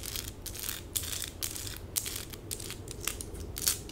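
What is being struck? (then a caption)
Plastic rhinestone stickers on skin, scratched with acrylic nails. Long pink acrylic nails scratch quickly across small plastic stick-on rhinestones covering a forearm and hand. The result is a rapid run of bright, crisp scratching and clicking bursts with a faint low rumble underneath.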